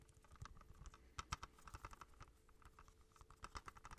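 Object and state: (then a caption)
Plastic movie case. Fingertips tap rapidly on a plastic Kiki's Delivery Service movie case. The result is a quick, uneven patter of light, dry clicks, each with a soft low thud and a brighter plastic tick that stops at once with no ring.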